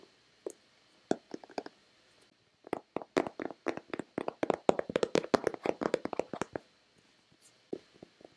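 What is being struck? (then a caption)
Plastic lotion bottle. Long red-painted nails tap and knock on a hand-sized, hollow white plastic Nivea lotion bottle. A few scattered taps give way to a dense, rapid flurry of short, dry clicks with a hollow midrange tone, then a few last taps after a pause. Each hit dies away almost instantly.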